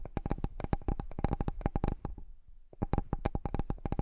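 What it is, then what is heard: Bamboo cutting board tapped with fingertips and nails. Fingertips and nails rapidly tap and scratch the surface of a large, solid, flat bamboo cutting board. About two dozen short, dry knocks with a deep low thump and a faint bright click each stop almost instantly. A brief quiet stretch of soft scratching comes before the tapping resumes.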